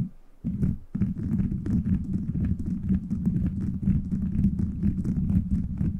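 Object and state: Plastic bead microphone cover being scratched and tapped.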